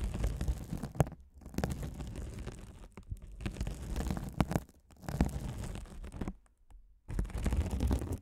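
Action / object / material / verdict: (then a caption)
scrape / mesh-covered foam scouring sponge scratched by a spiked metal roller / mesh foam / none. A rolling gold metal spiked roller scratches across a hand-sized blue glitter mesh scouring sponge, its sparkly woven mesh cover soft and solid, held over the microphones. The result is a deep, muffled, rumbling scratch and crackle in dense bursts, broken by short silent pauses. Most of the energy sits low, with little bright content.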